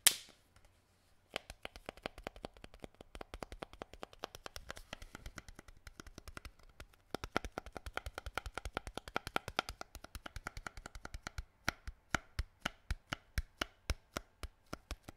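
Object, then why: Thin plastic water bottle. A clear plastic water bottle of about 0.5 l with a green cap, mostly empty and held in the hands, is tapped and squeezed along its sides with the fingertips. After a brief crinkle at the start and a short pause, dozens of quick, dry, bright taps follow in a steady run, each dying away almost instantly over a faint low hum. The tapping pauses briefly near the middle, then resumes in evenly spaced, slightly louder clicks toward the end.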